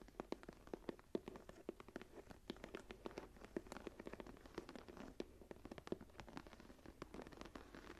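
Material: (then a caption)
Leather. Long nails and fingertips tap and scratch the raised pattern of a closed brown embossed leather journal cover lying flat. Quick, dry taps with very short decay come in a steady, dense stream, centered around 370 Hz with faint bright clicks. Soft scratching fills the gaps at a low, quiet level.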